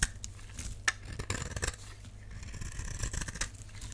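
A utility knife blade scrapes and shaves the face of a solid purple dry soap bar held in the palm. Dry, crisp scraping textures come in short bursts over a steady low rumble, with sharp clicks near the start and just before the one-second mark.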